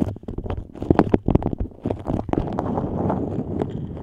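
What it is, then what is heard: Beeswax-coated cotton food wrap. A yellow patterned beeswax-coated cotton food wrap shaped over a microphone has its stiff waxed fabric scratched and crinkled by long nails. Dense, close-up crackling and rustling is broken by sharp low thumps in the first two seconds, then settles into steadier scratching.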